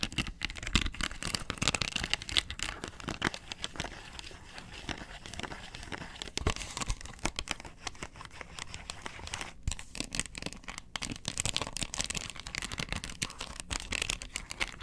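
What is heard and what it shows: Long nails scratch the ridged underside of a round, hollow yellow plastic box lid held in the hand. Dense, rapid, dry scratching and crinkly crackles run for the whole clip with bright, brittle texture and no ring after each stroke.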